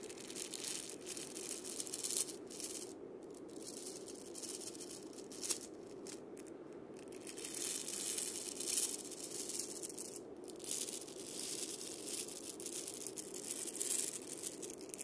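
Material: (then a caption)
Steel, wood. A hand sweeps and scrapes across the steel bead chains and the wooden top disc of a single wood and steel-bead cabasa. It makes a dense, bright, hissing rattle that swells and fades in waves, with brief near-silent gaps around 3 and 6 to 7 seconds.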